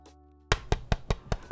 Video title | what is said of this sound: OwLab Mr. Suit R2 Build VOD | it's not screwed in all the way so it sounds kind of bunk